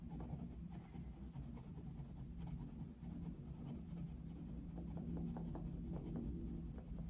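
A wooden coloured pencil steadily shades a thin paper colouring book page lying on a desk, its tip scratching and rubbing the paper continuously. The soft, papery strokes sit over a steady low hum and grow slightly louder and more rhythmic in the second half.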